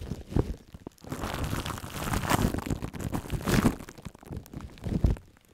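Long acrylic nails and fingertips crumple and scratch a hollow, loose sheet of crinkled aluminium foil wrapped around a microphone head. A close, dense crinkling and crunching rises into louder swells near the middle and fades into scattered taps at the end. The sound is dominated by low, boomy rumble with only a little bright rustle.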